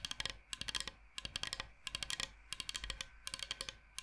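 Fingernails tap and click very fast on a large, flat, solid bamboo cutting board shaped like Michigan. The sound comes in rapid bursts of short, dry, bright clicks with a peak around 3.2 kHz, separated by brief pauses and with almost no ring after each tap.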